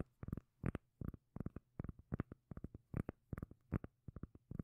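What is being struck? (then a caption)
Round cork lid. Long nails tap and scratch the face of a solid, palm-sized round cork lid. Quick, dull, bass-heavy taps come in short bursts with brief gaps, each dying away almost instantly at a low, soft level.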